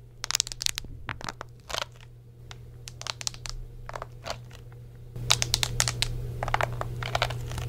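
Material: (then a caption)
Plastic. A hollow white plastic Xbox 360 controller with a rubber chatpad keyboard is held in both hands while fingertips and nails press and tap its thumbsticks, buttons and chatpad keys and grip the plastic shell. Around thirty sharp, bright clicks and taps come in an irregular, quick patter over a steady low hum. The hum and handling grow louder in the last few seconds.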